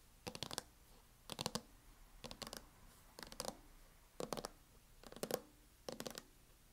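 Long nails tap and scratch the lid of a closed MacBook in a teal matte plastic hard-shell case, with some tapping near the front edge. Seven short bursts of quick, dry clicks and scrapes come in a steady rhythm, each clicking bright and dying out almost instantly, with a faint body around 500 Hz and quiet pauses between.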